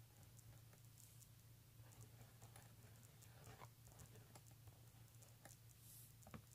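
Fingernails scratch and fingertips tap a pink embossed leather handbag lying flat, making quiet, short, dry scratches and soft taps with bright, crisp edges. A steady low hum runs underneath throughout.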